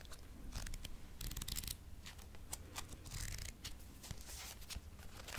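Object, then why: Paperback book with glossy card cover. Fingernails tap and scratch the turquoise glossy card cover and edge of a thick paperback textbook with a solid paper block. The result is a steady run of quick, dry, bright scratching bursts with short taps, over a soft low rumble, ending on a slightly louder tap.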